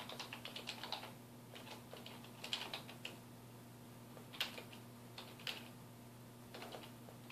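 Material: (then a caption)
Plastic. Fingertips type continuously on a full-size black plastic computer keyboard with a hollow housing, resting on a wooden desk. Bright, short clicky key taps come in quick bursts with brief pauses, centered around 3.3 kHz, over a faint steady low hum.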